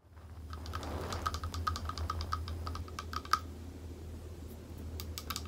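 A small, thick, clear glass bowl, hollow and empty, is held upside down in both hands and tapped on its base and sides with long acrylic nails. The result is a steady run of quick, light, clicky taps, each carrying a short glassy ring near 1.3 kHz that dies away almost at once. A low, steady hum sits underneath throughout.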